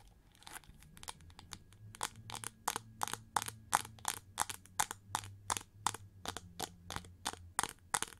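Long nails scratch quickly and aggressively across the ridged wing shapes of a winged, gold chrome-plated plastic hair brush held upright with both hands. The result is a rapid, uneven run of short, dry, crunchy scratching bursts with a bright hiss, over a faint low hum.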